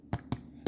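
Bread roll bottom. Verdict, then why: Hollow. Three taps on the bottom of a freshly baked bread roll give short, hollow, low thuds. The hollow sound marks the roll as done, as does a thermometer reading of about 200°.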